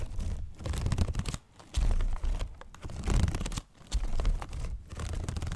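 A small handheld folding fan with a paper leaf and bamboo ribs is flicked open and closed and handled with fingers close to the mic. Its papery crinkling, tearing-like rustles and soft clicks come in uneven bursts, with heavy low-end thumps, faint bright crackle on top, and brief near-silent pauses in between.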